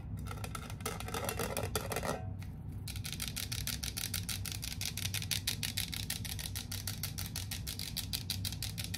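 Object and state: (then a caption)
Metal candle tin. Long painted nails rapidly tap and scratch the silver metal lid of a small cylindrical tin candle with a red paper label, filled with wax. Dense, fast, bright clicks and scrapes run almost continuously over a steady low hum, with a brief shift in texture a little over two seconds in.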